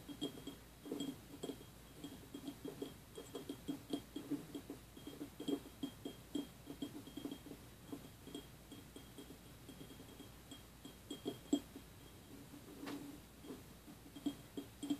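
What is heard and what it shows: A small empty clear glass jelly cup with a printed label, resting on a wooden table, is tapped with fingertips and nails on its sides and near the rim. Many quiet, irregular taps give soft clinks centered around 285 Hz that die away almost at once. A faint, steady high tone runs underneath.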